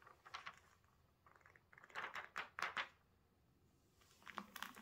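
Bare fingertips turn the thin glossy pages of an open celebrity magazine lying flat on a cloth-covered table, then smooth them down. Soft, crinkly paper rustles and quick bright swishes rise and fall in short bursts, with the loudest flurry in the middle and quieter brushing at the start and end.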